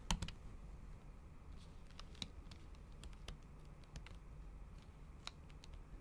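A MacBook Pro keyboard with plastic keys under a thin pink patterned silicone cover is typed on with the tips of long acrylic nails. The result is a run of short, sharp, bright clicks with little ring over a low, steady background hum. A quick cluster of taps comes at the start, and scattered keystrokes follow.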